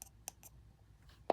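Four flicks on the side of the frame of a cheap new replacement diaphragm for a Yamaha JA4201 compression driver give short, thin, bright clicks, the last one loudest with a brief ring around 680 Hz. The odd, plasticky tick shows the replacement diaphragm is poorly damped and does not fit properly.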